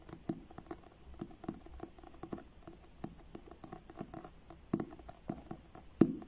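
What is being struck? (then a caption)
Paperback book with card cover. Fingertips and short nails tap the front cover of a paperback book with a blue card cover, held upright. The result is a quiet, irregular patter of soft, dull taps with a faint papery scratch. A louder tap comes near the end.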